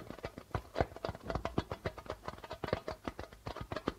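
A hollow darbuka drum with a white plastic membrane is tapped quickly with fingertips and nails in a rhythmic drumming pattern. The rapid taps give short, dry knocks with low thumps and a faint mid-range ring, and each stops almost at once.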